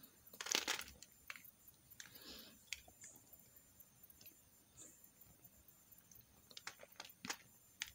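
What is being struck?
Bar of soap cut and scraped with a metal knife.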